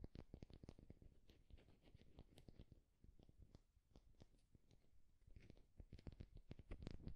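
A solid, smooth, egg-sized wooden egg is held in one hand and tapped and scratched with the fingertips and short nails of the other. Quiet, dry, low clicks and taps come in quick irregular clusters with soft scratching between them. A brief lull in the middle gives way to denser tapping toward the end.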